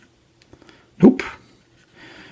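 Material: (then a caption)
Plastic. A cotton swab rubs and scrubs along the flat, hollow black plastic casing of a retro computer, held steady by one hand. A few faint scratchy ticks lead into a louder, brief rubbing scrape with a hollow low-mid body, fading to a soft, bright scratching hiss at the end.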